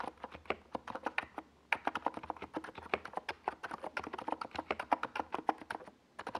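Both hands type with their fingertips on a compact 68-key NiZ Plum Atom 68 mechanical keyboard, which has a hollow white plastic case and purple and yellow plastic Domikey Gas Attack SA keycaps and sits on a desk pad. About 43 quick, sharp, clacky keystrokes sound with a mid-pitched, hollow plastic tone and a bright top, with brief pauses near 1.5 and 6 seconds.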